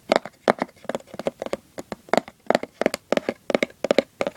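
Fingertips and short nails tap and scratch the printed surface of the small, hollow lid of a Christmas-printed cardboard gift box. About 25 quick, dry taps come in an uneven rhythm, each with a hollow midrange knock near 550 Hz, a bright scratchy edge and almost no ring.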